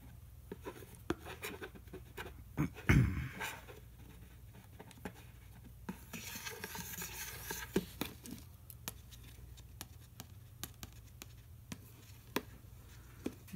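A pen tip traces and scratches across the lid and side of a medium, round, hollow white and red plastic yogurt tub with its lid on, while the tub is turned. Many light, sharp ticks and taps sound against a steady low hum, with a louder knock near the three-second mark and a bright scratching stretch in the middle.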